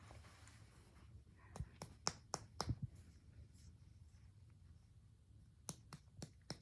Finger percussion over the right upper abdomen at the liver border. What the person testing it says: percuss your liver border and that's going to have more of a dull sound